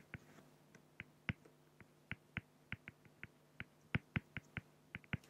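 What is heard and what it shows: A fine-tip pen makes 19 short, scratchy drawing strokes on a flat, solid acrylic glass (plexiglass) sheet. Each stroke is a brief, dry tick with a bright top that dies away almost instantly, spaced irregularly over a faint, steady low hum.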